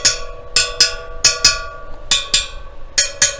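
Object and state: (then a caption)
Motorcycle wheel spokes tapped to check tension. Nine separate bright metallic pings ring out as the steel spokes of a freshly laced and trued KTM motorcycle wheel are tapped one by one, working around one side of the wheel to check that they are tight. Each tap gives a short, high ping that dies away quickly, with irregular gaps between strikes.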